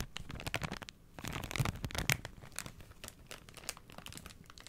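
A Spontex sponge pack in a thin plastic wrapper is crinkled and scratched with fingers and nails, giving dense, bright crackling and crinkling with sharp, short transients over a soft low rumble. The crinkling swells loudest in the middle of the clip, then settles into quieter, scattered scratches.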